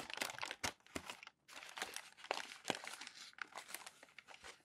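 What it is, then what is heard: Glossy magazine paper being crumpled and smoothed. Palms and fingers rub and smooth crumpled glossy magazine pages lying on a tall stack. The result is dense, bright crinkling and crackling with sharp crunchy bursts, a brief quiet pause just before halfway, and almost no low end.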